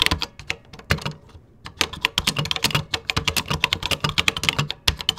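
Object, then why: Plastic computer keyboard. Fingertips type quickly on a vintage 1980s plastic computer keyboard with cream plastic keycaps. Each keystroke gives a crisp, bright, high clack that dies away almost instantly. A steady run of keystrokes is broken by a brief pause before the typing resumes.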